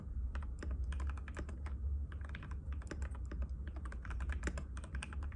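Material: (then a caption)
Plastic. A compact cream-white mechanical keyboard with plastic keycaps and a hollow case, resting on a glass table, is typed on continuously with the fingertips of both hands. Rapid, crisp, short clicks and taps overlap one another over a steady low hum.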